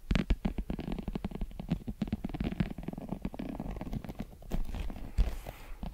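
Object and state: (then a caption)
Leather American football. A full-size brown pebbled leather American football, hollow and inflated, is held beside the microphone and scratched with long pointed metal claw nails. Rapid, uneven scratching and tapping strokes come out as low, hollow, rumbling thumps with a muffled, dry texture. Each stroke dies away almost instantly, with a few stronger raps standing out near the start and end.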